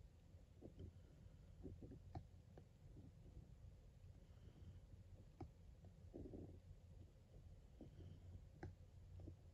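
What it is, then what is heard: Printed cardboard box being scratched. The metal tip of a white cable's plug is traced and scratched along the printed lettering of a blue printed cardboard box of Motichoor Ladoo held in one hand. It makes a quiet, low, rough rubbing rumble broken by brief, sharp ticks and scrapes as the tip catches on the card.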